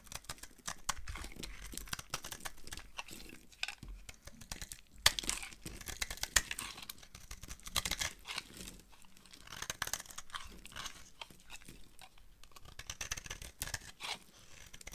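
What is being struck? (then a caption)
Bar of soap carved with a blade. A palm-sized, solid purple oval bar of dry Fax soap, held in the hand, is carved with a utility knife so that brittle chips curl off. Dense, dry crackling and crisp scraping scratches fill the clip, bright and hissy with many short irregular bursts and a few sharper cracks.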